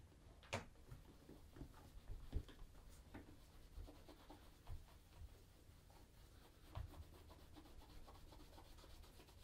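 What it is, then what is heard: Leather boot being buffed with a cloth. A red cloth wrapped on the fingers rubs and buffs a hollow brown polished leather Crockett and Jones Coniston ankle boot, which is held in the other hand. Soft, steady swishing and rubbing continues throughout, with a few louder, dull low strokes and brief bright brushing streaks.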